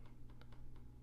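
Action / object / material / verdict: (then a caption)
tap / laptop trackpad / plastic / loose. A loose, unevenly seated trackpad on a Lenovo Legion 5 Pro laptop is tapped on one side, producing several quick, clicky ticking rattles over a steady low hum. The trackpad visibly moves when tapped, a defect rather than a design choice.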